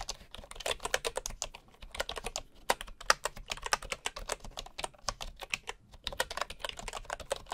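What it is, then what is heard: Bamboo wooden keyboard being typed on. Fingertips of one hand type steadily on a bamboo wood keyboard, with a wooden mouse lying idle beside it. The result is a fast, uneven stream of short, dry, bright key clicks with almost no low end, each dying away at once with no ring.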